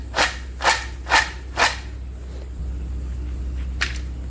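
Crispy, puffed deep-fried snack sticks made from urad dal and gram flour are broken by hand, giving four sharp, evenly spaced snapping crunches with bright, brittle tops, then a fainter snap a couple of seconds later. A steady low hum runs underneath, and each crack dies away quickly, showing the sticks are properly crisp.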